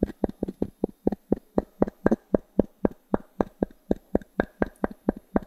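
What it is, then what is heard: Pine wood slice coaster. A small wooden cube is tapped and scraped across the surface of a solid round pine log-slice coaster held in the palm. Twenty-three short, dry, hollow knocks come in a steady rhythm, each with a low woody tone around 220 Hz that dies away almost instantly.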